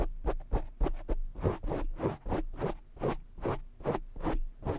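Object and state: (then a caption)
Foam microphone windscreen being scratched. Short fingernails scratch the top and sides of a black foam windscreen on a desk microphone. The result is a rapid, uneven series of rough, breathy scratching bursts that sweep up into bright hiss over a heavy, boomy low thump.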